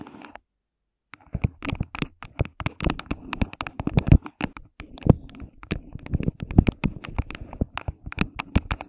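Fingertips and long pink nails rub, tap and scratch the walls of an empty, hollow, thin clear plastic cup placed over a microphone. After about a second of silence, a rapid, uneven stream of sharp, dry taps and scratchy rubs follows, with a muffled, hollow, low-heavy tone. Each hit dies away almost at once.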